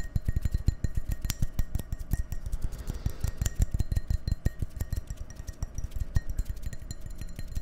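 An empty, hollow, clear drinking glass held in one hand is tapped and scratched with fingernails in a quick, steady stream of short taps. Each tap is a dull, low knock that dies almost at once, with faint high glassy tones ringing above and soft scratching in between.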